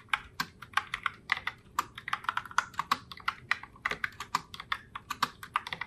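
Fingertips with long nails type continuously on a pink Logitech Pop Keys mechanical keyboard in Heartbreaker Rose, with round plastic keycaps. About 34 sharp, quickly decaying plastic clicks follow one another unevenly. Each click is bright and centred around 1.4 kHz, with almost no low end.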